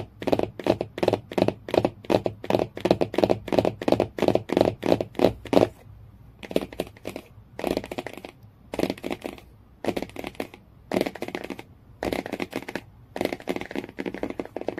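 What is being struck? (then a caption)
Hardcover book with cardboard cover. Fingernails tap quickly and steadily on the cardboard cover of a hardcover book for about six seconds, giving short, dry, mid-pitched clicks. The sound then shifts to short bursts of scratchy tapping across the cover, separated by brief pauses.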